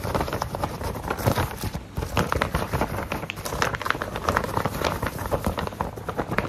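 A thin white printer paper sheet is held in both hands while fingertips tap, rub and flex it. The result is a steady run of soft crinkling and crackling with quick light taps and dull low thumps, and a brief quieter dip near the two-second mark.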